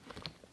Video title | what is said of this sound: VINTAGE BARBIE DOLLAR STORE COMPARISON WITH MATTEL DOLLS - #107 | when you tap the body, it's got this hollowness to it. They're very lightweight, and they've got this like hollowness to it